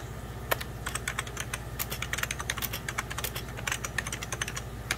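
Fingertips of both hands type steadily on a hollow, beige 1990s Packard Bell plastic computer keyboard. Rapid, short, bright key taps click one after another with almost no ring, over a low, steady hum.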